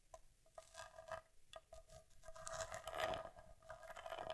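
An Argus C3 vintage camera with a metal body and leatherette covering, solid and held upright, is tapped and scratched on its front by long nails. Quiet, quick clicking taps with a tonal ring near 650 Hz mix with dry scraping. The activity grows denser and louder in the second half.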